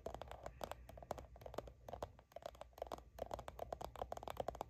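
Long nails scratch and tap quickly across a soft plastic sunscreen squeeze tube held in both hands, which appears filled. The quiet clip is a busy run of short, dry taps with a hollow mid tone around 550 Hz and bright clicky edges, with light scratching between them. Each tap dies away almost at once.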